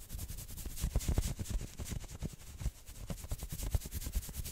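Fingernails quickly scratch the forearm sleeves and shoulder of a worn maroon knit sweater. The result is a dense, irregular run of soft, dull rubbing thumps layered with a bright, hissy fabric scrape, with no ringing between strokes.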